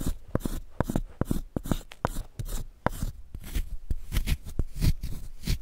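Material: Chalk.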